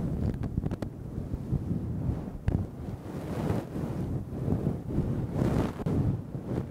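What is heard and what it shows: A makeup brush with a red metallic handle steadily brushes a fluffy grey-black synthetic fur windscreen over a microphone. It makes a soft, low, wind-like rumble that swells and fades in waves, with a few faint brief crackles.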